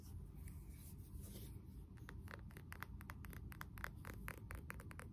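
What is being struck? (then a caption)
Wax-filled ceramic candle jar with wooden lid. Fingertips tap the wooden lid of a blue glazed ceramic candle jar filled with wax, with the lid on, then tap the jar's ceramic bottom. Soft, dry, quick taps with almost no ring come faster from about two seconds on, over a quiet low rumble.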